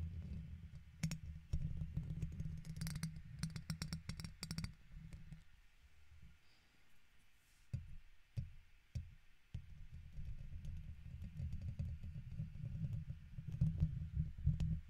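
A plastic guitar pick scratches the top and side of the hollow metal wire-mesh dome of a silver microphone, producing a heavy, boomy low rumble with quick clicking ticks. The scratching runs for a few seconds, drops to quieter isolated taps in the middle, then resumes as dense, close-up scraping.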